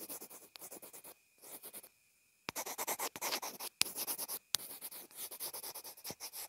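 A pencil tip scribbles and scratches across a small white plastic inline earphone remote and mic, making quick, dry, bright scraping strokes in rhythmic bursts. After a short near-silent gap, the scratching resumes louder, punctuated by a few sharp clicks.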